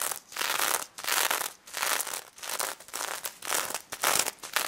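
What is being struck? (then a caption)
Plush toy covered in plastic sequins. Long nails scratch and tap across a pink stuffed pig toy covered in plastic sequins, with a fabric snout. The result is repeated swells of bright, crinkly, crackling scratching with brief pauses between strokes, mostly high-pitched with almost no low end.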